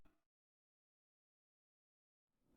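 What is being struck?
Nothing is struck.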